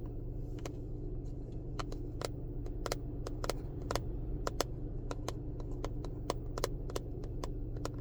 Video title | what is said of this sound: Car ASMR 🚗 Tapping, Scratching, Rambling | this little container made a good little noise when these aren't inside